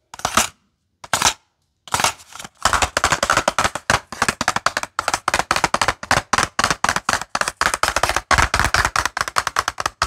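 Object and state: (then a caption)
Full cardboard box of paper clips. A small, full cardboard box of paper clips is tapped and scratched along its edges with short fingernails. A few separate dry taps open the clip, then from about two seconds a fast, steady run of crisp, bright clicks and scratches carries on to the end, each one short with almost no ring.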